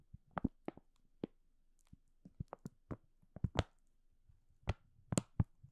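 A green and white printed plastic food packaging bag, hollow and apparently filled, is scratched and crinkled along its top edge by fingertips and nails. Short, dry crinkles and taps come in irregular bursts, mostly low with brief bright crackles, over a quiet background.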